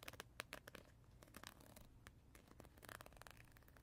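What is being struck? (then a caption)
Gel-filled plastic teether ring. A hand-sized oval teether ring of textured, translucent green plastic, apparently filled with gel or water, is held in the hands and scratched and tapped with fingertips and nails. The result is quiet, rapid, dry scratching and crinkly ticking, with brief bright taps that stop almost instantly and no ringing.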